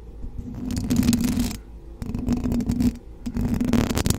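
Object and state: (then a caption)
Metal mesh microphone grille being scratched. Long blue acrylic nails on both hands scratch and tap the rounded, hollow metal mesh grille of a silver USB condenser microphone. The result is three close, rustling bursts of scratchy friction with a low, boomy body and a steady hollow tone around 230 Hz, separated by brief quieter gaps.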